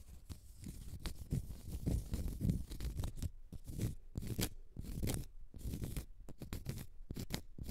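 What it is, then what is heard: Cork stopper. Long red nails scratch the flat face of a small, solid, round cork stopper. The result is an irregular run of quiet, dry scratching strokes with a soft, low, muffled body and brief bright edges. Each stroke stops almost at once with no ring.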